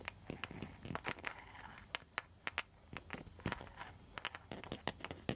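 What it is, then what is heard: Rattan and mosaic coaster. Long metal nail tips scratch and tap across the mosaic face of a round rattan and mosaic coaster. Quiet, bright, dry clicks and taps stand out sharply over a soft, scratchy hiss. Each tap stops almost instantly with no ring.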